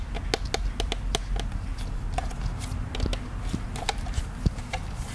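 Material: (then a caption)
Plastic. A hollow plastic ghost-shaped souvenir popcorn bucket, held in both hands in front of the face, is tapped with the fingertips. The result is a steady run of quick, dry clicks and soft hollow knocks with bright edges that die away almost instantly, over a constant low rumble.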